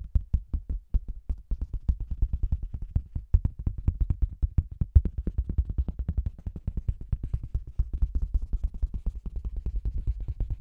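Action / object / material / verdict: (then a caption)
tap / faux leather cosmetics bag / faux leather / none. Fingertips and long green nails tap rapidly on a round, hollow faux-leather cosmetics bag with a microphone inside, then a flat hand rests and rubs on its red printed front. The taps land as a dense run of muffled, booming thumps centered around 70 Hz, with almost no high-frequency content. Each thump dies out almost instantly.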